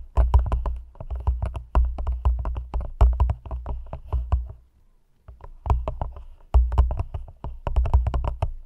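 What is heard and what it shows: Long nails tap rapidly on the sides of an empty, hollow, thin clear plastic cup held over the mic. The quick clicky taps land in dense bursts over a deep, boomy low thump, with a brief pause near the middle before the tapping resumes.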